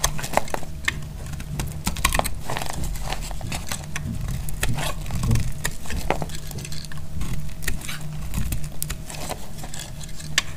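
A solid, translucent blue bar of dried glycerin soap is held in the hand and shaved with a metal utility blade. Dense, crisp scraping crackles and sharp bright clicks run throughout over a steady low rumble, with a faint constant tone underneath.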